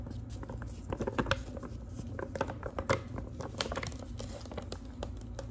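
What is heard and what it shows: Long pink nails tap across a large, thin, flat manila paper envelope with a clasp, held in the hand. A rapid run of quick, dry taps mixes with light papery crinkling over a steady low hum, with a few louder taps standing out.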